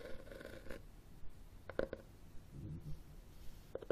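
Fingertips and nails tap and scratch the cover and spine of a red cloth hardcover book held sideways close up. Soft scratching rustles run between sharp, short taps with a low hollow thump, with two brighter clicks near the end.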